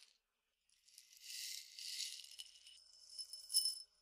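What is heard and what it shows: A clear glass tumbler partly filled with peppercorns is tilted and shaken so the peppercorns rattle, and it is tapped with the nails. After a brief tick and a short silence, a soft, bright, hissing rattle swells and shifts, with no low end at all. It ends in a few sharp, high glassy taps that ring briefly before fading out.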